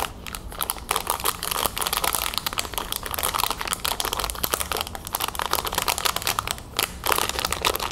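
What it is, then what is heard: Plastic packaging bag, crinkling. A small clear plastic resealable bag holding a rhinestone tiara on a white card is held in the hands and tapped and scratched with long nails. The result is a steady stream of rapid, bright crinkling and crackling plastic with sharp, short taps.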